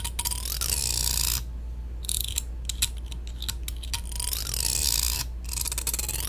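The pointed tail of a black plastic comb is scraped along the teeth of a long, solid, thin black plastic hair comb held upright in one hand. Rapid, bright, high-pitched rasping strokes come in bursts with short pauses and a few sharper ticks between them. A steady low hum sits underneath throughout.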